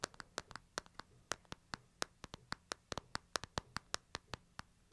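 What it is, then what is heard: Smartphone glass screen tapped. Fingertips tap the glass screen and frame of a smartphone, held both flat and on edge. About 25 quick, dry, bright clicks come in an uneven rhythm, each dying away almost instantly. A faint low hum sits underneath at a quiet overall level.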